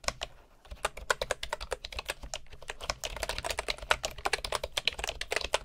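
Both hands type with their fingertips on a bamboo computer keyboard with wooden keycaps. A rapid run of short, dry, bright keystroke clicks follows a brief pause near the start, each tap dying away almost instantly.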